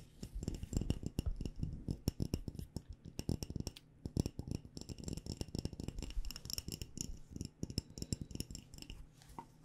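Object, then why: Glass mason jar with metal lid, filled with tea. Long nails rapidly tap on a glass mason jar filled with loose tea, both on the glass and near its metal screw lid, which is covered by a floral fabric. The dense, quick taps land as short, dull low knocks with faint bright clicks on top. Each tap dies away almost instantly, with no ringing.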